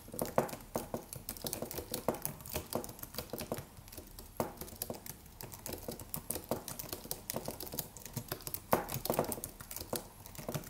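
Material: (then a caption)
Plastic. Fingertips of both hands type rapidly on a slim white Apple-style wireless keyboard with an aluminium body and white plastic keys, resting on a desk. A steady stream of short, dry, soft clicks and taps patters on, with a few louder key strikes standing out and each tap dying away almost at once.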